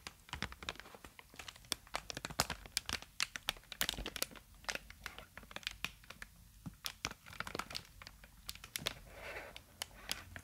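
Clear plastic inflated air-column packaging, with hollow air-filled tubes, is held upright and squeezed and crinkled with the fingers. It gives a dense run of sharp, bright crackles and crinkling snaps over a quiet background, with a softer, smoother rustle near the end.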